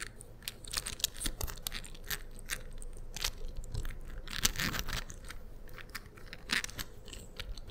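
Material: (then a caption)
Plastic. Fingertips and short-to-medium nails fold and unfold a hand-sized, 3D-printed beige plastic infinity cube made of small hinged blocks that are hollow or lightly infilled. The blocks give quick, dry clicks against each other, mixed with light tapping and soft rubbing on the textured printed surfaces. The bright, crisp clicks come in irregular bursts over a low, quiet rustle.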